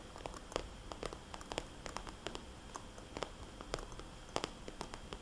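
Long polished fingernails tap rapidly on a small red polka-dot glossy plastic cosmetics bag lying flat, a hollow pouch with a barcode sticker. The result is a quiet, fast, uneven patter of crisp, dry plastic clicks with bright tops that die away almost instantly, over a faint low rumble.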